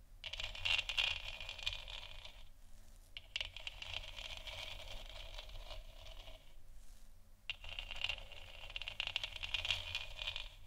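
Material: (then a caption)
Plastic. Long nails scratch and tap across a large, hollow, textured plastic moon lamp sphere. The result is three stretches of dense, bright, rasping scratches mixed with quick light taps, separated by two short pauses. A steady low rumble sits underneath throughout.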